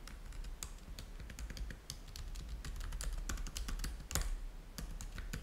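Fingertips type on the keys of a black plastic laptop keyboard, producing a steady run of quick, light clicks with bright, sharp tops. A continuous low hum sits underneath the taps throughout.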